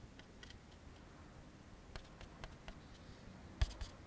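An empty white molded-fiber paper plate resting on a wooden table is tapped and scratched with fingertips and short nails. Soft, dry clicks and faint scratching sit over a quiet low rumble, with two sharper, brighter taps standing out near the end.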